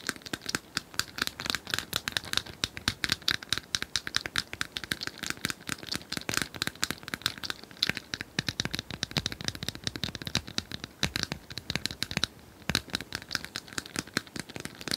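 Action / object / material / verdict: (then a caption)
tap / small plastic cylindrical puzzle toy / plastic / none. Long nails rapidly scratch and tap on a small, apparently hollow, plastic cylindrical puzzle toy with colored tiles. The result is a dense, continuous stream of dry, bright clicks and scratchy crackles with very short ring and little low end.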